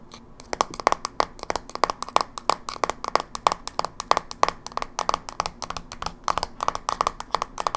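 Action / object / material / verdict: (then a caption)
tap / plastic handheld game console / plastic / none. Long nails tap and scratch the flat top lid of a closed, silver plastic Game Boy Advance SP, a small hollow handheld game console held in one hand. About 48 quick, irregular clicks sound over nearly eight seconds. Each is a dry, hollow plastic tick centered near 1.1 kHz with a bright edge, dying almost instantly with no low-end body.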